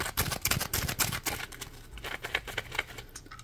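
A yellow Scrub Daddy sponge, a hand-sized piece of textured polymer foam held in both hands, is scratched with the fingernails. Rapid, irregular bursts of dry, bright scratching rasp against the foam, loud and dense at first before thinning into softer, lighter scrapes.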